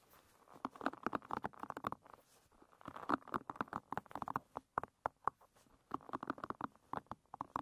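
Long red nails and fingertips scratch and flick the many small wooden pins of a wooden pin-bristle hairbrush lying bristles up. The result is a dense, rapid stream of dry, clicky ticks and scratchy rasps centered around 1 kHz. They come in bursts with short pauses, and the flicks are sharper and louder.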